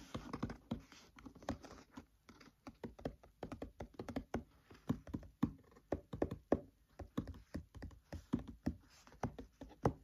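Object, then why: Open paperback book pages. Fingertips tap on the paper pages of an open paperback book, close up. The result is a rapid, rhythmic run of soft, dull taps with a papery thump, each dying away almost at once.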